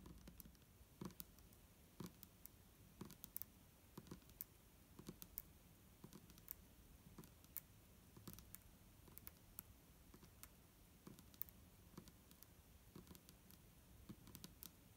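Long nails on both hands tap the sides of a clear plastic micellar water bottle with a green cap, standing upright, hollow and holding liquid. Quiet, sharp clicks and light patters come in an irregular stream over a low, dull background, each tap dying out almost instantly with a bright tick on top.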